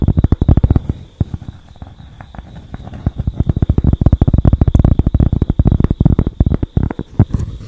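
A thin, flat cork board held close to the microphone is scratched and tapped with long acrylic nails. The result is a fast, dense run of short, dull, low-pitched taps and thumps. A faint steady high tone sits underneath.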